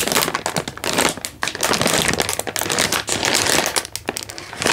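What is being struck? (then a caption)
Instant noodle packet in a plastic wrapper. A single full Indomie instant noodle packet in a crinkly plastic wrapper is held in one hand and squeezed and crinkled with the fingers. The result is dense, bright crinkling and crackling that swells and dips continuously, with little low-end weight.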